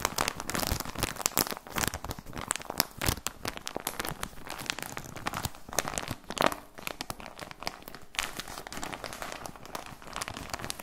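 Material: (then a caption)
Plastic. A full plastic package of socks is squeezed and crinkled with both hands, giving a dense run of sharp, bright crackles and crinkles. Bursts rise and fall unevenly through the whole clip with no pauses.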